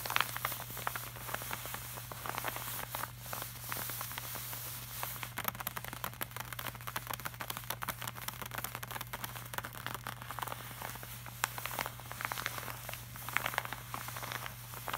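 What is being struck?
Laminated paper print.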